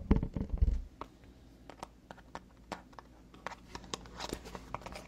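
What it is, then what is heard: Cardboard product box. A small, hollow, printed white cardboard box for an Emerald skincare product is held in both hands and tapped and scratched with long fingernails. A cluster of dull, low thumps opens the clip, then it settles into sparse, quick, dry clicks and brief bright scratches against a faint low hum.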